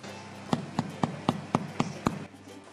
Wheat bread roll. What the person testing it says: That hollow sound means it's cooked.